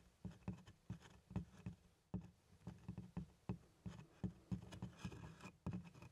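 Small plastic toy hands tap the grained-leather front of a large, hollow, closed black doctor's bag, held upright, beside its handle. The result is a quiet, irregular patter of soft, low, hollow thuds that die away almost instantly, with little high-end sound.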